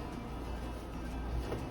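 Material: Nothing is struck.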